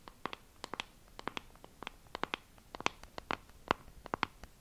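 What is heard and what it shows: A small, flat, hollow pink plastic compact case with a wavy relief pattern is tapped and scratched with long acrylic nails. About 22 quick, dry clicks land at an uneven pace over a faint hiss. Each click is sharp and bright, centred near 1 kHz, and dies almost instantly.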